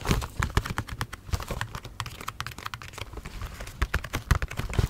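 Fingernails tap rapidly and unevenly on a Bubble T bath macarons gift box, made of cardboard with a clear plastic window and holding bath bombs. The quiet, dry clicks each have a dull, low thump underneath and die away almost instantly.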